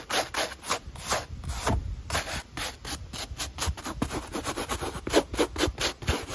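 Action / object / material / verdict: scrape / mesh fabric running shoe with foam sole / mesh fabric / none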